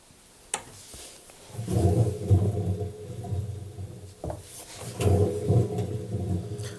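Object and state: Washing machine drum with worn bearings.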